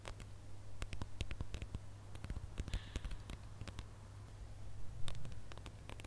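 A gold glitter-coated plastic star ornament is held in both hands while fingernails scratch across its ridged glitter surface. The scratching produces a quick run of short, dry, bright ticks and crackles over a steady low hum.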